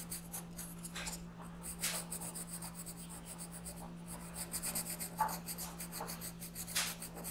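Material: Paper.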